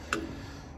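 A metal-cased 45/5 dual run capacitor, discharged and disconnected from an outdoor AC condenser, is shaken and gives a single short, bright tick with no swishing or loose contents heard inside. It passes the shake test, and a capacitance meter reading of 44.2 and 5 confirms the capacitor is good.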